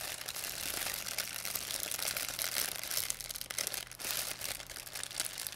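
A thin, empty white plastic pharmacy bag is crinkled and squeezed in both hands with long nails. The result is a dense, continuous stream of bright, crisp crackles and rustles with almost no low end, swelling and dipping slightly as the bag is worked.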